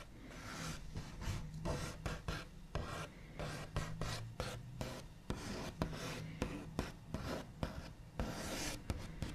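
The backs of the nails of one hand scratch and trace across the large, solid, smooth top of a white-finished wooden table. Dry, scratchy rubbing strokes are broken up by repeated short, sharp taps, each with a dull low thump and almost no ring.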